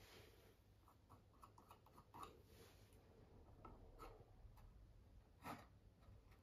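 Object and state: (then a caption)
Palette knife scraping on a stretched canvas. A metal palette knife scrapes and spreads wet oil paint across a medium-size stretched cotton canvas, taut fabric over a hollow frame, on a wooden easel. Quiet, dry scraping strokes carry through the clip, with brighter, louder swipes near 2.2, 4 and 5.5 seconds over a low background rumble.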